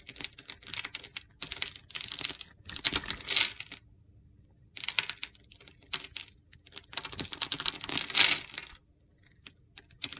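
A utility knife blade scrapes and carves gritty flakes off a solid blue bar of soap with a pale blue inside, held in the palm. Bursts of crisp, bright scraping and crunching come in clusters separated by short silences, with almost no low end.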